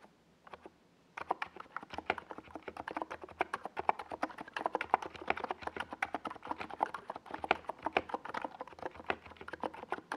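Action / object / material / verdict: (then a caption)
tap / plastic mechanical keyboard with tall plastic keycaps / plastic / none. Both hands' fingertips type rapid key taps on a NiZ Plum Atom 68, a compact 68-key mechanical keyboard with a hollow white plastic case and purple and yellow Domikey Gas Attack SA plastic keycaps, resting on a desk pad. After about a second of near silence, a steady stream of quick, hollow, clacky clicks with short sharp attacks and almost no ring-out runs to the end of the clip.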